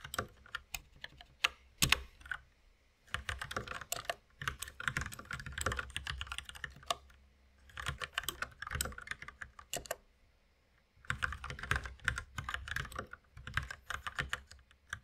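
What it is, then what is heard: Plastic mechanical keyboard being typed on. Fingertips of both hands tap on a white compact mechanical keyboard with plastic keycaps and a red accent key, resting on a wooden desk. Bursts of quick, bright, clacky keystrokes with a low thock underneath are broken by short pauses near 3, 7.5 and 10.5 seconds.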